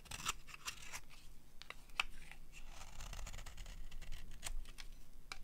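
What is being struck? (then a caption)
Soap bar. A metal utility blade scrapes shavings off the face of a solid, cream-colored dry soap bar. The result is a quiet series of short, crisp, dry scraping strokes with bright, high crackle and a faint low rumble underneath.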